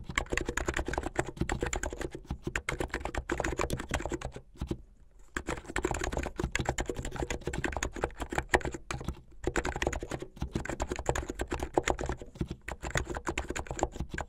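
Fingertips with medium-length light-blue painted nails type fast on a full-size contactless plastic mechanical keyboard with white, blue and yellow plastic keycaps, a blue case and LED underglow. A dense, steady stream of short, crisp plastic key clacks with a low thocky body continues, broken by one brief pause partway through before the fast typing resumes.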